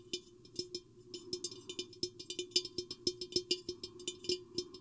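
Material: Glass.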